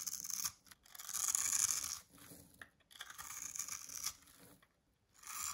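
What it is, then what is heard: Dry soap bar being shaved into cubes. A small metal blade scrapes across a blue oval bar of dry solid soap, pre-scored in a grid and held in the palm, shaving off tiny cubes that fall away. The sound is a series of bright, dry, crumbly scraping strokes, almost entirely high-pitched with no low end, separated by brief quiet pauses.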